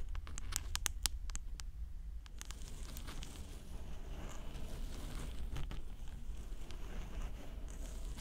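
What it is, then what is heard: Plastic microphone ear housing tapped and scratched with nails. Long orange acrylic nails tap and scratch the hollow white plastic housing of a 3Dio binaural microphone ear. Sharp, bright clicks come in quick bursts at the start, then give way to steady scratchy rustling over a low, muffled rumble.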